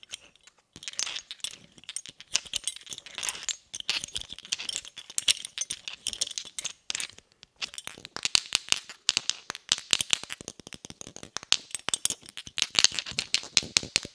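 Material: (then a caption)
Steel. A round, smooth, hollow, hand-sized inert M67 steel grenade body, held in the hand, is tapped with the brass head of a red shotgun shell. Quick, light, bright metallic clicks come in irregular bursts throughout, each dying away almost at once, with no low end.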